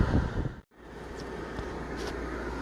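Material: Nothing is struck.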